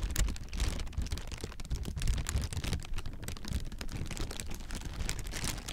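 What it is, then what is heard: Plastic air cushion packaging. Hollow, clear plastic air-pillow packing is grasped and squeezed with the fingers, giving a steady run of dense, bright crinkles. Underneath is a deep, muffled handling rumble with no pauses.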